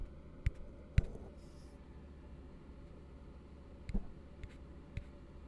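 An empty, hollow blue plastic tumbler held upside down is tapped with the fingertips. The result is a few soft, dull, low-pitched taps with almost no ring, spaced apart by quiet pauses.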